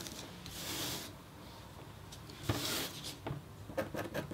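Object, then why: Black-coated copper foil scratch board. A metal-tipped stylus scratches across a flat, thin, solid black-coated copper foil scratch art board. Two long, bright, hissing strokes are followed by a run of short, quick scratches and taps over a quiet background rasp.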